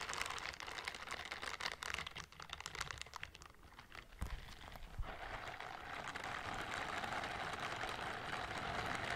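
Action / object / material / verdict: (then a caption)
scrape / silicone scrubber gloves with bristled palms / silicone / none. Pink silicone scrubber gloves with bristled palms, worn on both hands, are rubbed against each other close to the microphone. For the first few seconds the rubbing comes in irregular, crinkly, scratchy strokes, with a couple of soft low bumps around the middle. It then settles into a steady, bright, continuous brushing hiss.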